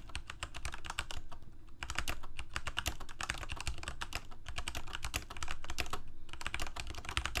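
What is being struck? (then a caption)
Plastic mechanical keyboard. Fingertips of both hands rapidly type on a full-size Corsair mechanical keyboard with plastic keycaps on mechanical switches, a hollow plastic case and blue backlight. The result is a fast, continuous stream of sharp, bright clicks and clacks with very short decay, in bursts separated by brief pauses, over a steady low hum.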